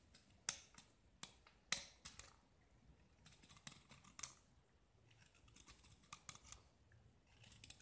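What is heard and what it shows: A black-painted solid gypsum disc, now mostly scraped white, is held in the fingers and scraped further with a utility knife blade. Sharp, bright scraping strokes come at an uneven pace, each a quick dry rasp that dies away almost at once, with a faint gritty hiss between them.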